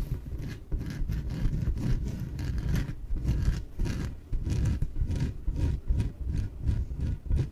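Long nails scratch the surface of a small, yellow, hollow, air-filled inflatable PVC exercise ball. Repeated rubbing strokes make a low, rumbling scrape, with faint bright streaks on each stroke.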